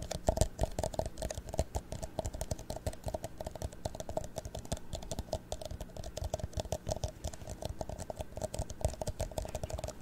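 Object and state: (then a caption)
Empty plastic cup. An empty, hollow clear plastic drinking cup is held in the hands in front of the microphone and tapped all over by fingertips and medium nails. The result is a steady stream of rapid, short, clicky taps, each with a soft low thump and a hollow, slightly ringing tone around 600 Hz that dies away almost at once.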